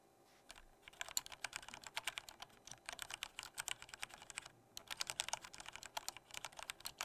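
Fingertips of both hands type lightly on a full-size black plastic Corsair K68 mechanical keyboard with Cherry MX Red switches, a hollow body and red backlight. The result is a rapid, uneven stream of short, bright, clacky keystrokes with almost no low end, broken by a brief pause near the middle before the typing resumes.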